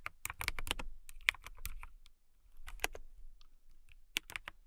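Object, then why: Acrylic mechanical keyboard. Fingertips with long nails type on a clear acrylic mechanical keyboard with a transparent acrylic case and clear keycaps. About 13 crisp, bright clacking keystrokes come in quick bursts, each with a dull low thud underneath and almost no ring. The typing pauses briefly near the middle, then resumes more softly.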